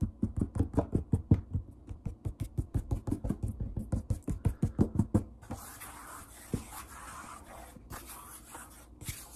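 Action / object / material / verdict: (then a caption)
tap / wooden tabletop / wood / none. Index fingertips jab and tap quickly on a large, solid wood-grain tabletop, making about 34 short, dull, low thuds with almost no ring in an uneven rhythm over the first five seconds. The tapping then gives way to a softer, brighter, continuous rubbing hiss on the surface, broken by a few isolated low taps.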